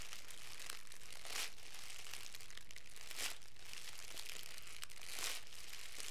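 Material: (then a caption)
Plastic film. A hand-sized loose bundle of crumpled clear plastic cellophane wrap, a thin transparent film, is squeezed and crinkled by the fingertips of both hands. It gives a steady, bright crackle that swells into denser crinkling bursts about every two seconds, over a faint low hum.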